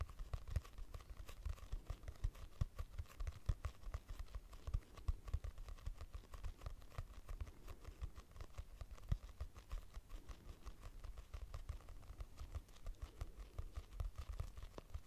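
Long nails tap rapidly on the cover of a purple hardcover notebook with a price sticker, a solid paper block. The sound is a quick, continuous patter of short, dull clicks with a low thud body and very little ring.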